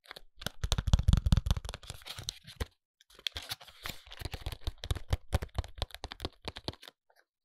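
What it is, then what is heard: Paperboard cosmetic box, hollow. A small, hollow white ALBION paperboard foundation box is held in both hands and tapped with short fingernails on its front face. The result is a rapid run of dry, crisp clicks with a low, hollow thump beneath them. The clicks fall in two bursts separated by a brief pause near the three-second mark.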